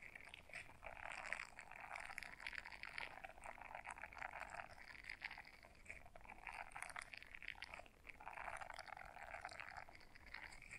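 Long nails scratch the bristles of a small blue silicone scrubber brush folded in half, producing a steady, dense, soft scratching rustle. The sound is concentrated in the midrange with bright edges and fades briefly near the eight-second mark before resuming.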